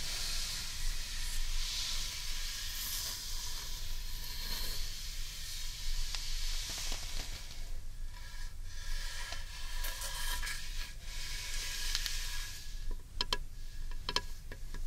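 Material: Wood.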